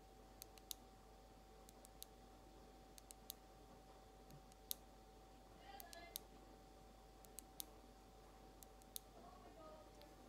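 Long almond acrylic nails slowly tap a small frosted glass nail polish bottle with a white plastic cap, held sideways. Sharp, bright clicks with almost no ring arrive at uneven intervals over a low, steady background hum and a faint constant tone.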